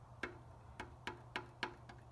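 Seven light, sharp ticking taps on a metal Springfield script emblem held against the fuel tank of a 2017 Roadmaster motorcycle, tapped to find the fore-and-aft position where its curve matches the tank. Each tap gives a brief clicky rattle rather than a solid knock. The emblem is not seated yet: it rocks and needs to move a little before tapping sounds solid.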